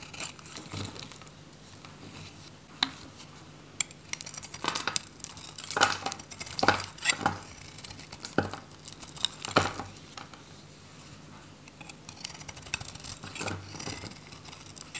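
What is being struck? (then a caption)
Bar of soap shaved with a metal knife. A metal utility knife shaves strips from the face of a solid, dry orange bar soap held in the hand. Bursts of dry, crinkly scraping with bright high edges come in uneven strokes, separated by quiet pauses. Each stroke cuts off sharply with almost no ring.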